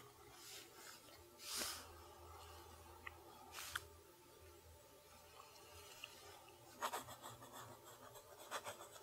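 A steel fountain pen nib scratches across the lined page of a spiral notebook while writing in cursive. Soft, continuous papery rasping is broken by brief, bright scratchy strokes that stand out from the quiet bed. A faint low hum sits underneath throughout.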